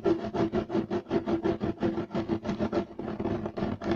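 Both hands scratch quickly at a flat, solid, beige striped woven loop-pile carpet with short nails and fingertips. Fast, somewhat uneven bursts of dry, scratchy rasping come about three times a second, each cutting off sharply, with a midrange hum-like tone running through the strokes.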